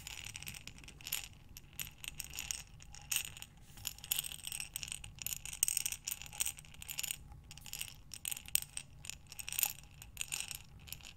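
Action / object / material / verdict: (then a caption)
shake / glass jar full of buttons / glass / none. A glass mason jar with a metal lid, full of buttons, is tilted end to end in both hands so the buttons tumble inside. Quiet, bright clicking and rattling comes in repeated bursts with each tilt, crisp glassy ticks with no ring and little low end.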